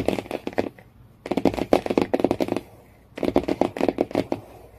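Fingernails tap rapidly on the cardboard cover of a hardcover book. The taps come in three quick bursts separated by short pauses, each a dry, papery click with a hollow midrange body and almost no ring.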